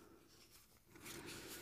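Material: Nothing is struck.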